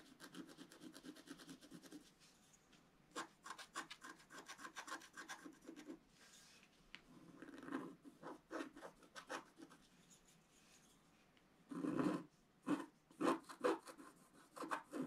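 A wooden stylus scratches a flat black-coated scratch-art card near its lower left, making dry, rasping strokes. Quick runs of short scrapes alternate with longer rubbing passes and brief pauses, with a louder cluster of strokes near the end.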